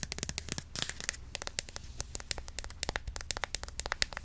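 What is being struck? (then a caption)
Plastic cream bottle. A medium-sized white plastic Cantu curl activator bottle filled with cream is held in the hand and tapped quickly with long nails. About 29 short, dry, bright clicks with a crinkly edge ring out in rapid succession and die away almost instantly, over a low hum.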